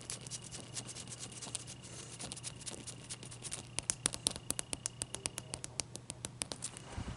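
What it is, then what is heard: Ice cube tapped and scratched. A large, clear, solid ice cube held in both hands is tapped and scratched with long nails. Soft scratching gives way to a run of sharp, bright clicks that grow more distinct toward the middle and end. All of it is quiet, over a steady low hum.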